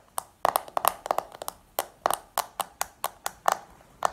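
Long painted nails tap a small, round, hollow black plastic makeup compact held in the hand, making about twenty quick, irregular clicks. Each tap is dry and sharp, with a hollow midrange knock and a bright edge that dies away almost at once, and there is no low end.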